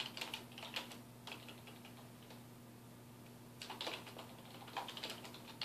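Fingertips of both hands type on a black plastic computer keyboard resting on a wooden desk. Bursts of quick, bright key taps with short decays open and close the clip, separated by a quieter pause of about two seconds. A faint steady low hum runs underneath throughout.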